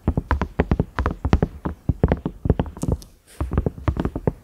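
Fingertips and nails tap rapidly on the round knob of a large, cream, ridged silicone microwave lid. The taps are soft, dull thumps with a low, boomy body and almost no ring. There is a brief pause with a few bright, airy swishes in the middle before the steady tapping resumes.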